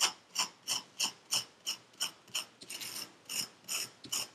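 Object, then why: Kinetic sand in a paper cup, scraped with a metal pick. A thin metal pick with a wooden handle scrapes and carves the surface of packed purple kinetic sand in a paper cup held in black-gloved hands. Short, bright, gritty scraping strokes come in a steady rhythm, with one longer drawn-out scrape midway through. Each stroke is crisp, high, and dry, with no low rumble and almost no trailing ring.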